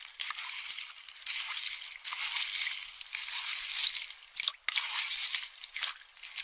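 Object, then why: Empty pistachio shells in a small metal bowl stirred with a spoon. A spoon crushes and stirs empty pistachio shells in a small metal bowl. The result is a steady, bright, dry crunching and crackling in surging waves, with no low end, punctuated by a few sharp clinks of the spoon against the metal bowl.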